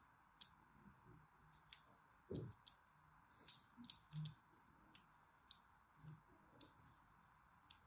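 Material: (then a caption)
Soap. A solid orange striped bar of soap, held in the hand, is scored in a crosshatch pattern with a thin needle tool. About 13 short, irregular scratching clicks ring out with bright, high edges and soft low thuds beneath. Each stroke dies away almost at once over a quiet background hiss.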